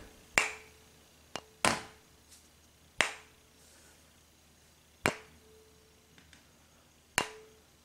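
A cast silver tuning fork, made from an aluminum original used as its mold, is struck six times with sharp, bright taps. Each tap leaves only a weak, faint ring that dies away almost at once, so the fork produces very little sound compared with the aluminum original.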